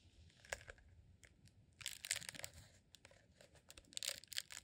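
A rolled candle made from green honeycomb beeswax sheet is held in both hands as a tube and squeezed and scratched with the fingertips. Quiet, bright crinkling and crunching scratches come in short bursts, with denser, louder clusters of crackles in the middle and near the end.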